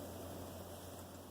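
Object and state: Nothing is struck.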